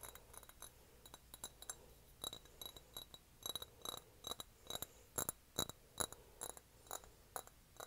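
A small, shallow, hollow pink glazed ceramic dish shaped like a cat's head, empty and held in both hands, is tapped and scratched with fingertips and nails. Quick, irregular taps give bright, glassy clinks that die away almost at once, with soft scratching between them.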